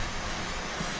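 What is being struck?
Nothing is struck.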